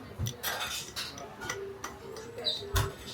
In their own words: （ASMR）请听听用勺子轻轻敲碎焦糖外壳时，世界上最幸福、最美味的声音。🥄💥